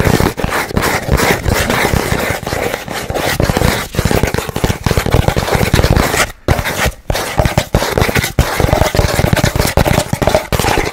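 Fingernails scratch and tap fast on a hollow, empty brown cardboard roll tube held horizontally. The result is a dense, continuous run of dry scraping and crackly taps with a low, hollow body. The sound breaks off briefly twice near the middle before resuming.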